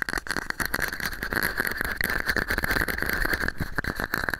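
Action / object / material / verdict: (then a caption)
tap / small plastic cup / plastic / none. A small, hollow, empty red-and-white plastic cup held over the microphone is tapped and scratched with fingernails. The result is a dense, rapid run of crisp clicks and scratchy rustling, colored by a hollow, boxy resonance around 1.5 kHz with bright overtones above.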